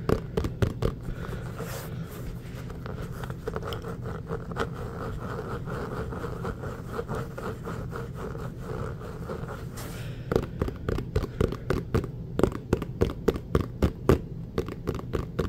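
An inflated, hollow orange Spalding rubber basketball is tapped and scratched with fingertips. A low, steady scratchy rustle fills most of the clip, broken by quick dull taps that come in a fast, uneven rhythm, especially near the end.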